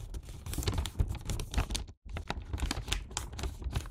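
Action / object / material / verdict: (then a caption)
scrape / paper bag / paper / none. Fingertips and nails fold and press the top of a Santa-print paper gift bag filled with sweets into a hat shape, producing continuous crinkling and rustling with sharp creasing clicks. The paper noise is dense and fairly soft, with a deep thumping undertone as the bag is handled, and it stops briefly near the middle before resuming.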